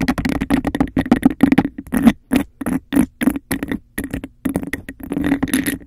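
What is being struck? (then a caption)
Embossed glass cup. Long nails rapidly scratch and tap on the bumpy surface of a hollow, empty, hand-sized cup of embossed glass. The result is a fast run of short, dry bursts with a hollow resonance around 220 Hz and a bright, gritty scraping texture. Brief silent gaps fall between the clusters.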